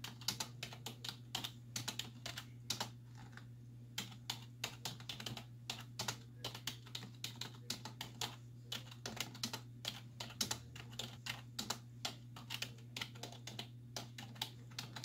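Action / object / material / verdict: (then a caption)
tap / plastic computer keyboard / plastic / none. Both hands with long white nails type on a black plastic desktop keyboard with hollow keys, using fingertips and nail tips. It produces a fast, continuous run of short, bright, hollow plastic clicks and taps with very little ring, over a steady low hum.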